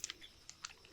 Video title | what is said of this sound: Trying ASMR for the First Time (Goblin-Style!) (Chaotic and Unpredictable) | It makes a rather nice sound, too.